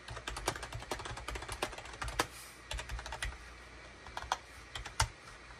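A full-size gray, cream and orange SHIPADOO K600 wired USB keyboard with a hollow plastic housing is typed on rapidly with the fingertips of both hands on a desk mat. Quick, short plastic key clicks come in dense bursts with brief pauses, over a faint low hum.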